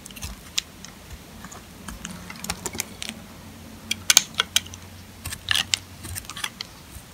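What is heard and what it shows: A metal box-cutter blade carves and scrapes curls off a solid, dry, old green sulfur soap bar held in the hand, with green shavings collecting around it. Short, bright, crisp scrapes and crackling snaps come in scattered bursts over a faint low hum, each dying away almost instantly.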